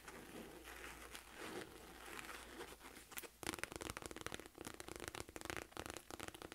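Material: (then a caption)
Faux leather. Long nails scratch along the stitched ridges of a small, hollow, mustard yellow quilted faux leather wallet bag with a silver chain. A soft, steady scratching runs for the first few seconds, then turns into louder, rapid, crisp rasping strokes with a bright, crinkly texture.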